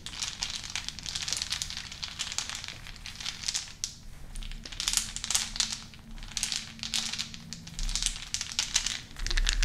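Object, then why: Small unfinished wooden beads. A handful of small, solid, unfinished wooden beads is cupped in both hands over a wooden bowl and rolled and shaken between the palms and fingertips. This makes dense, bright clicking and rattling that swells and fades in repeated bursts over a faint low hum.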